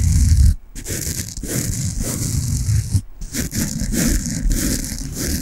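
A peach foam bath sponge with a string loop is rubbed and scratched with fingertips and long nails, giving a dense, continuous scratchy rustle with a heavy low rumble and a bright hiss on top. The scratching pauses briefly twice, near 0.6 and 3.1 seconds, then resumes at a steady level.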